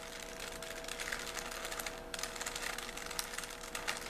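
A small solid 3x3 plastic Rubik's cube is held in both hands while its layers are twisted rapidly with the fingers. The plastic pieces make a dense run of bright clicks and rubbing over a steady low hum, with a brief lull near the middle.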